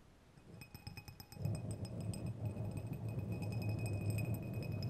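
Two long, thin, solid steel threaded screws or rods are crossed and rubbed thread against thread, clinking together. Light metallic clinks with bright ringing tones come first, then from about a second and a half a steadier, louder, low grinding rasp of the threads scraping over each other continues to the end.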